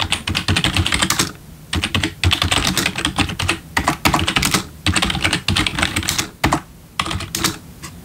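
Bare fingertips of both hands type on a full-size black plastic membrane gaming keyboard with RGB backlit keys, resting on a wooden desk. Rapid bursts of bright, clattering key taps with soft low thumps are broken by brief pauses.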